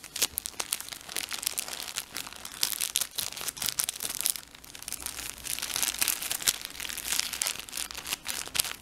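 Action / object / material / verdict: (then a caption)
scrape / plastic tissue pack wrapper / plastic film / none. A blue plastic tissue pack wrapper is stretched, crinkled and rubbed with the fingertips, making a continuous stream of dense, bright crackles and sharp crinkling snaps. There is almost no low end, and bursts of louder crackling rise and fall throughout.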